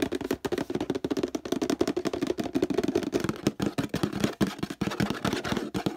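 Fingertips and nails rapidly tap and scratch the sides of a large, hollow, empty-looking orange plastic laundry detergent bottle with a handle. The result is a dense, fast stream of short, dry, hollow knocks with a low resonant body around 210 Hz, mixed with bright scratchy rasps. Each hit dies away almost immediately.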